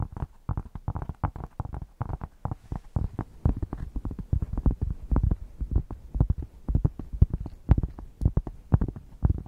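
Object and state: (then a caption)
Thick cork square being scratched. A thick, solid cork square is held in both hands and scratched with long painted nails close to the microphone. It makes a fast, irregular run of short, dry, bassy scratching thumps, about two per second, with a deep low rumble around 60 Hz and almost no high end. Each stroke dies away instantly.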